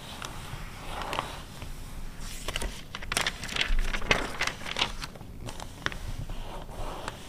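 Long red acrylic nails scratch and tap the printed pages of an open glossy paper car magazine from 2009 lying flat on fur, then turn a page. Dry, crackly scratches and sharp, bright clicks come in quick irregular bursts over a soft, low rumble, each tap dying away almost at once.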